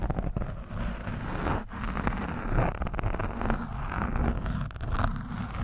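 A screwdriver tip is scratched across and poked into an orange foam microphone windscreen. This produces a steady, muffled, low-heavy rumbling and scraping with soft crackles and dull thumps as the tip presses into the foam.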